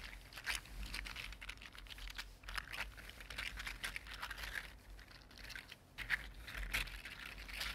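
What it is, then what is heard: 3D printed plastic articulated slug. A red-gold 3D printed plastic articulated slug rests on a table and is wiggled side to side with the fingertips. Its jointed plastic segments give off a steady stream of quiet, bright, dry clicks and crinkly rattles that rise and fall in short bursts, with no ring after each click.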